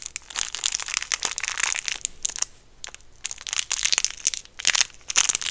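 Fingertips of both hands squeeze and crinkle a clear, crinkly plastic wrapper around a small, solid, round white peppermint candy. The result is bursts of bright, crackling crinkles with short, quieter pauses between them, and almost no low end.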